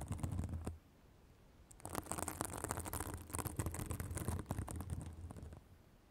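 Long acrylic nails scratch a white, fibrous synthetic bath sponge held just above a microphone. A short burst of scratchy rustling is followed by a brief pause, then several seconds of dense, irregular scratching. The sound is a close, crackly texture with a low rumble underneath and bright fibrous crackle on top.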